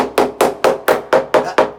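A hammer taps plaster higher up a wall seven times at a steady pace. Each tap gives a short, hollow, mid-pitched knock that dies away quickly, marking the plaster as blown.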